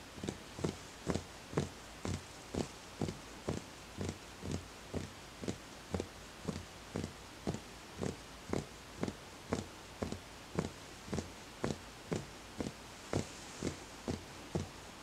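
A small, empty, hollow wooden bowl on a footed base is tapped on its side with the fingertips. It gives a steady run of short, dry knocks at about two per second, each with a low, hollow body and very little ring, over a quiet background.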